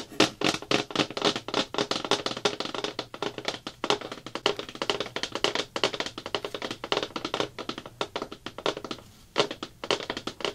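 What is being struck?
Plastic bucket lid.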